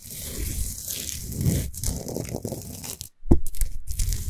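Long fingernails on both hands rapidly rub and scratch a large, solid Himalayan salt sphere lamp lit from inside. The result is a dense, continuous crunchy scraping with a heavy low rumble and faint bright hiss, broken by a brief silence just after three seconds before the scratching resumes louder.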